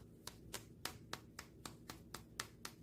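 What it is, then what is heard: Poorly made red ginseng, dull sound. A dried red ginseng root that did not turn out properly is tapped ten times in a steady rhythm, each a short, sharp click that dies away almost at once. The taps sound dull rather than clear, marking the ginseng as poorly made.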